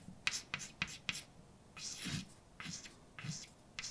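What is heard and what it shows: A hand writes words with a white chalk stick on a large, flat, dark painted blackboard with a solid surface. Four quick, bright taps are followed by longer, breathy scratching strokes with a slight low thud at each stroke.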